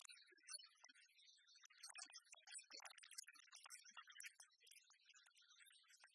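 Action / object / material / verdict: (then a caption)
tap / large metal coin replica / metal / none. Long fingernails scratch and tap the face and edge of an oversized, solid metal replica of a copper-coloured 1909 one-cent coin. Quick, quiet, bright clicks and scratchy ticks tumble over one another with almost no ring and no low end, staying high and crisp throughout.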